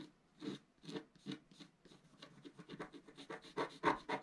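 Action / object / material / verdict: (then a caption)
scrape / black-coated scratch art paper scratched with a wooden stylus / coated paper / none. A thin wooden stylus scratches the upper area of a black-coated scratch art paper sheet lying on a table, while the other hand presses the sheet down. It makes a series of short, dry, papery scratching strokes that start spaced apart and then come quicker and louder toward the end.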